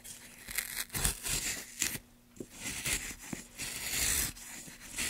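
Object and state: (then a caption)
Pine wood block being carved. A gouge carves strokes along a long channel in a solid light pine block held by a gloved hand. Bright, rasping shaving sounds come in uneven bursts, with a faint low hum underneath.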